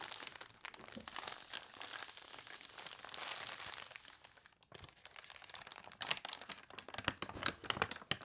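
An open newspaper lies flat while fingertips and long nails rub and scratch its newsprint pages, and a page is turned. The sound is a bright, dry crinkling and scratching made of many quick rustles. A short pause comes just before five seconds, followed by sharper, louder crinkles.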